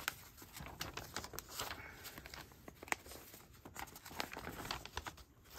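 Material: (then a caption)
Newsprint paper. A large 1860s illustrated newspaper of thin, aged newsprint lies open flat on carpet while its pages are turned, lifted and rustled by fingertips and hand. Soft, continuous paper crinkling and flapping is heard, with bright, sharp crackles over a quiet, airy rustle.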